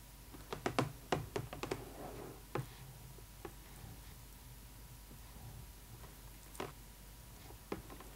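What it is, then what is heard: Clear plastic window of a doll box. A pointed, metal-tipped pen-like tool held in a hand with long acrylic nails taps and scratches the thin, hollow, clear plastic window of a cardboard box over the face of a boxed Barbie skating doll. A quick cluster of sharp, dry, clicky taps comes first, then sparser ones, 12 in all, with soft scratching in between. Each tap stops almost at once with no ring.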